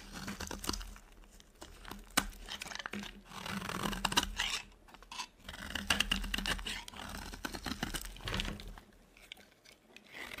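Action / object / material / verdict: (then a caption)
scrape / bar of soap / soap / none. A metal blade carves a solid, dry white soap bar, making crisp scraping and crunchy cracking sounds as flakes and chunks break off, with a steady low hum underneath. At the end, the chunks are crumbled in the hand with dry, bright crinkling crunches.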